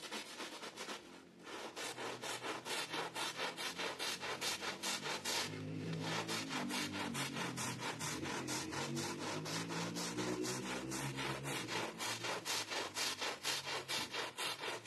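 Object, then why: Pile carpet scrubbed with a plastic bristle brush. A gloved hand drags a green plastic bristle brush back and forth through the wet, suds-covered pile of a blue and red rug. The result is a steady, rhythmic scrubbing of bright, hissy rasping strokes, about two per second, with brief pauses near 1 and 6 seconds.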